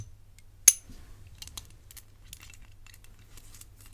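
A medium rigid hinged bangle of gold-tone metal with black enamel panels, held in one hand, is tapped and scratched by the fingertips and long nails of the other hand. One sharp, bright metallic tap rings very briefly, followed by faint, high ticks and scratching over a low, quiet hum.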